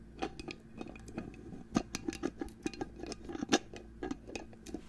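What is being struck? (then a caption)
Glass perfume bottle. Fingernails tap and scratch a hollow clear glass perfume bottle with a gold cap, held close to the microphone. Around twenty sharp, short clicks ring with a bright glassy tone over a low, steady background hum.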